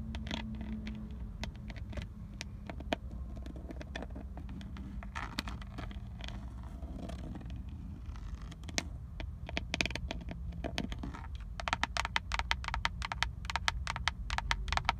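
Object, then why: Plastic airbag cover with chrome emblem on a steering wheel. Long acrylic nails tap and scratch across the textured black plastic airbag cover and chrome-plated badge at the centre of a Nissan steering wheel, solid and mounted in the car. Sharp, dry clicks and scrapes sit over a steady low rumble, the tapping growing quicker and denser toward the end.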